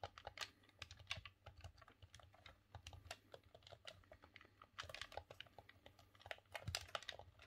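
Thumbs click the D-pad and face buttons of a green, hollow plastic Nintendo 64 controller held in both hands. A quiet, rapid, irregular stream of short, bright plastic clicks, each dying away almost instantly, rises into denser bursts near the end.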